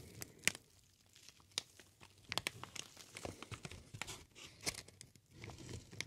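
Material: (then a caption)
Plastic film. A large sheet of green plastic air-pillow packaging film with many small hollow, air-filled cells is held in both hands near the face and ear and squeezed and crumpled with the fingers. It gives a bright, dry crinkling with irregular sharp crackles and snaps scattered over a soft rustling bed.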